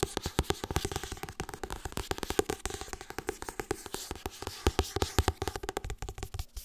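Long red fingernails tap and scratch quickly across the glossy illustrated cover of a paperback book held upright. The result is a dense run of dozens of short, dry clicks with a faint scratchy hiss between them, each dying away almost instantly.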